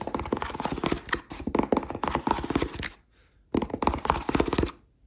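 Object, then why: Cardboard box. Rapid, close-up tapping on a cardboard cereal box with a barcode gives dense hollow knocks and scratchy clicks in two bursts, separated by a brief pause of near silence.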